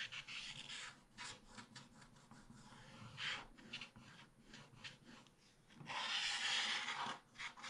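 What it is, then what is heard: Scratch-art paper page. A wooden stylus scrapes across a black-coated scratch-art card page in a small spiral book, uncovering the colourful print beneath. Dry, bright rasping strokes come in short bursts and longer drags, with a sustained, louder scrape near the end.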